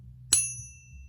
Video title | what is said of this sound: Ping Test Tips - Silver Bars and American Silver Eagles | this bar actually sounds wonderful